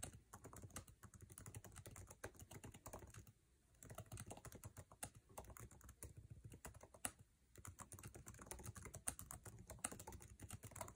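Fingertips type fast on a MacBook Air keyboard with plastic keycaps set in an aluminum chassis. A dense, rapid stream of short, dry key taps pairs a soft low thud with a bright click on each stroke. The typing breaks off in two brief pauses before resuming.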